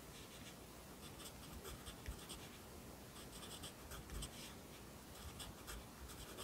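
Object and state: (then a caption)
Pencil writing on a paper notebook page. A yellow wooden pencil held in the fingers writes across the page of an open lined paper notebook lying flat on a desk. The graphite scratches softly and steadily on the paper, with a quiet, continuous low rustle and brief brighter strokes in the upper range.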